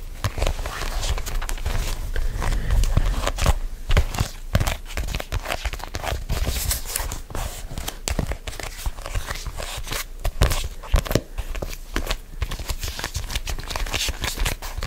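A solid black hardcover notebook with a faux-leather cover and a round yellow sticker is gripped and scratched with fingertips and nails close to the microphone. The result is dense, irregular scratching and crinkly rubbing over heavy low thumps and handling bumps, with quick dry strokes throughout.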